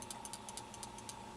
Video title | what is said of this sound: Microdrives - The world's smallest retail hard drives | If you shake the microdrive, you can hear clicking. That's the heads moving up and down.